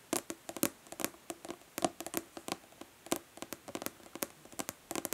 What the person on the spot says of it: Nail tapping on plastic body lotion bottle.